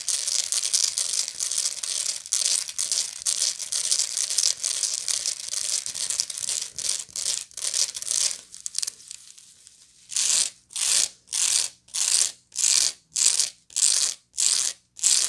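Long nails scratch along the ribbed weave of a medium, hollow woven straw bag, making a bright, ratchet-like crackling texture. Quick, dense strokes run for about eight seconds and fade to a brief pause. Then a run of slower, evenly spaced, separate scrapes follows.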